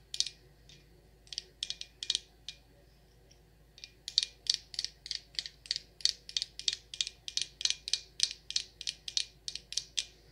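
A glass jar candle filled with white wax, labeled Rose Water & Ivy and topped with a dark lid, is held in one hand and tapped and scratched on the glass with long acrylic nails. Sharp, bright clicks with almost no low end come in scattered clusters with a pause, then settle into a steady, rapid run of taps to the end.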